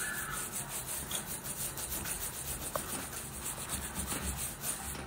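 A worn black leather lace-up boot is scrubbed along its side near the welt with a wooden-handled bristle brush. The result is a steady, rhythmic rubbing and brushing sound with a bright, hissy top and a low rumble underneath.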